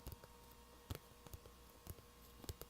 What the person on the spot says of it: makes it pretty good tapping noise